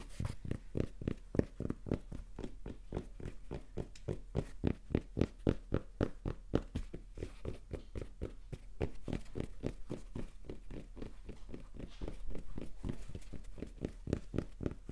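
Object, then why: Cotton baseball cap. Fingertips rapidly tap the crown of a red cotton baseball cap bearing the Rapala logo, held crown forward. About 57 soft, dull, low thuds come in a quick, uneven patter, each dying away instantly with no ring.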